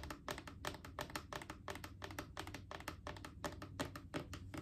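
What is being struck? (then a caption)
Hollow plastic canister. Long acrylic nails tap rapidly and unevenly on a Clorox disinfecting wipes canister, a mid-sized hollow plastic cylinder. Each tap gives a short, bright plastic click that dies away almost at once, in a quick patter of irregular clicks.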